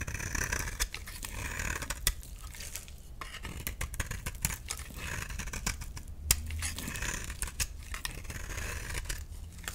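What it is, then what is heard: Dry bar soap being shaved. A solid, rectangular, yellow bar of dry soap is held in the hand and scraped and shaved with a utility knife, leaving powdery shavings. The sound is a steady run of crisp, dry scraping strokes and short, sharp cuts with a bright, hissy edge over a low rumble. A few strokes stand out louder than the rest.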